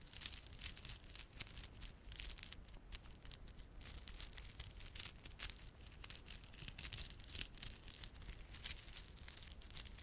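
A small clump of plastic beaded garland, glossy dark blue and silver solid plastic beads with red spiky plastic fringe, is held in both palms while fingertips rub and squeeze it. Quiet, dense, bright clicking and crinkling continues throughout, with sharp, quick ticks over a soft low rumble.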